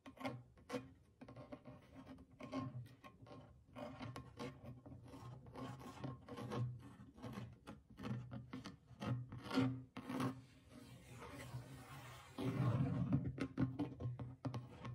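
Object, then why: Small clay drum with goatskin head. Fingernails scratch and rub across the dry stretched goatskin head of a small hollow clay drum. The result is a quiet, rasping series of short strokes over a low, hollow body tone, growing louder and denser in the last few seconds.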